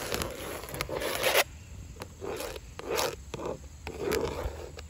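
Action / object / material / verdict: scrape / vinyl siding panels / vinyl / none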